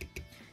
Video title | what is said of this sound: 033. SHFiguarts Avengers AOT Hulk Toy Review | definitely the upper portion right here you kind of hear it's Hollow